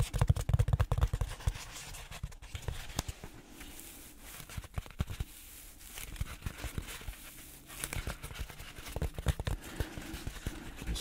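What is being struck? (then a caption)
Closed-cell foam tube. A long black closed-cell foam tube, about a hand's width across, is held in both hands while short trimmed fingertips scratch and tap along its textured surface, first horizontally and then tilted upright. Dense, irregular scratching, crinkling and soft dull taps with low thumpy body are louder at the start, quieter in the middle, then pick up again toward the end.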